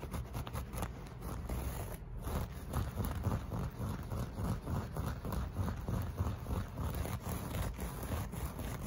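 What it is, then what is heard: Loop-pile carpet scratched. Fingernails of both hands scratch and pick at the loops of a flat beige loop-pile carpet piece made of solid textile. The result is a steady, dense stream of soft, low, muffled scraping and rustling with quick, irregular strokes throughout.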